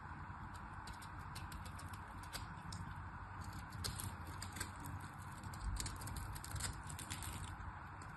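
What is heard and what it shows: A small black knife cuts into a solid pink crosshatched bar of soap, and crumbly chunks break off. Soft, dry crackling and crisp little ticks sit over a steady low rumble, with slightly louder crunches near the middle and end of the cut.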